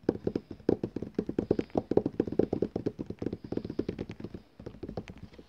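Fingertips and nail tips tap rapidly on the glossy paper cover of a large, solid, flat book or catalogue lying on a table. The result is a fast, steady stream of dry, short, hollow knocks with a mid-low tone and almost no ring. The taps briefly pause near the end, then resume a little softer.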